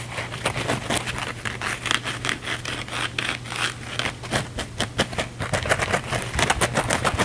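A small blue cellulose kitchen sponge with a scouring pad, porous side showing, is held in the hands and scratched rapidly and aggressively with fingernails. It makes a fast, dense run of crackly, bright scraping bursts over a steady low hum.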